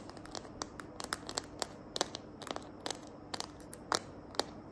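Long nails tap and scratch the back of a small hand-held smartphone in a green glitter plastic case. The result is a quick, uneven series of sharp, bright clicks with very short decays over a faint scratchy hiss.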